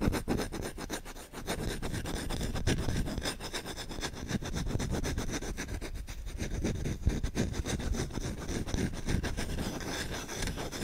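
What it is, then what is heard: Wooden spoon being scratched. Fingertips scratch and rub aggressively and fast on the bowl of a solid wooden spoon held close to the mic. The result is a dense, continuous run of rough, scraping strokes with a heavy low-end rumble and faint high hiss, steady in loudness throughout.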